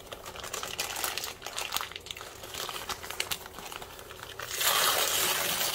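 A soft white paper sheet held in both hands is crumpled and torn by the fingertips, producing dense, bright crinkling and rustling with quick irregular crackles. Near the end, a louder, sustained hiss of rustling paper takes over and continues to the close.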